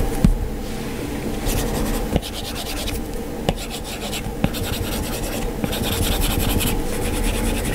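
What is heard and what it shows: An Apple Pencil's plastic tip scratches across an iPad's glass touchscreen in colouring strokes, making bursts of bright, gritty rubbing over a steady low hum. A few sharp, short taps stand out between the strokes.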